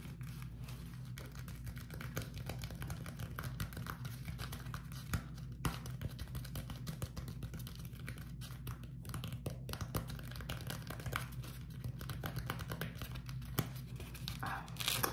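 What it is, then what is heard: Beeswax-coated cotton food wrap. A small beeswax-coated cotton food wrap, folded into a bundle and held in both hands, is tapped and squeezed by fingertips. It gives dense, quiet, crinkly and sticky crackles with short taps, over a steady low hum.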